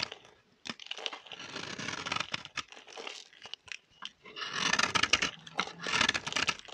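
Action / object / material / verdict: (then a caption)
scrape / bar of soap scraped with a metal blade / soap / none. A metal blade scrapes a solid, dry orange bar of soap held in the hand, shaving it into crunchy curls. Dry, crackling scraping strokes with bright, crisp texture start and stop in irregular bursts, growing louder and denser toward the end.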